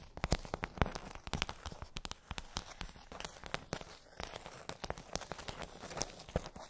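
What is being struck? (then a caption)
Plastic bubble tray. Long acrylic nails tap and scratch a pink glossy plastic tray with rows of hollow dome bubbles. Dozens of quick, sharp clicking taps sound in an uneven rhythm, with dry, crinkly scratching filling the gaps between them.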